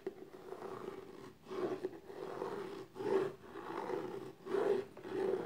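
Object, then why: Small textured cardboard gift box. Long nails scratch the top and side edges of the lid on a small, closed, hollow black textured cardboard gift box. Repeated soft rasping strokes swell and fade with a hollow, boxy resonance centered in the low mids, with little high end.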